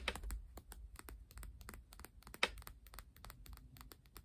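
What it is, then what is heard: Stack of paper playing cards. Long painted nails and fingertips tap and scratch the top and edges of a single Uno deck of coated paper/cardboard cards, stacked solid, held and resting on a wooden table. About twenty quick, bright clicks come in a rapid, keyboard-like patter over a low rumble, with one sharper tap standing out near the middle. Each click dies away almost at once.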